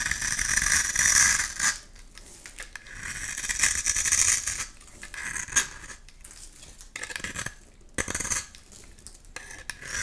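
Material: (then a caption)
Soap. A metal blade scrapes flakes off the surface of a solid light-green oval bar of soap held in the hand. The scraping comes as bright, crisp, crackling rasps in repeated strokes, with quieter pauses and a few sharp clicks between them.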